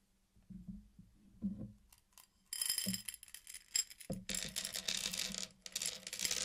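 Fingertips tap and rub along the rim of a flat circular mosaic of many small, solid, candy-coated chocolates laid on a black surface. A few soft, muffled taps come first, then bright, dense, rattly clicking begins at about 2.5 seconds. After a brief pause near 4 seconds, the rattling returns louder and continues to the end.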